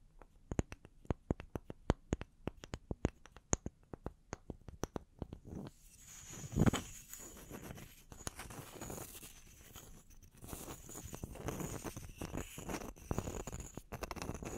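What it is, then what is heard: Wooden log slices. Long nails tap the cut faces and bark rims of two small, solid round wooden log slices held in the hands. The first five seconds are a quick run of crisp, dry, separate taps with almost no ring. The sound then turns into a denser, continuous scratching and rubbing texture, with a louder swell near 6.5 seconds and a few scattered taps.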